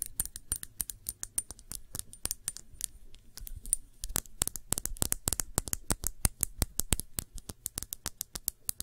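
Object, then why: Small glass shot glass. A small, clear, hollow and empty glass shot glass is held and tapped on its sides and rim with long nails. The result is dozens of rapid, crisp clicking taps with bright high ticks that die away almost instantly, over a faint low hum.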